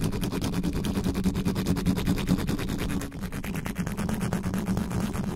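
A black condenser microphone's hollow metal grille is scratched quickly with fingertips and nails. The result is a dense run of fast, scraping strokes with a heavy low-end rumble and a hum-like tone near 190 Hz. The level dips briefly around the three-second mark before the scratching picks back up.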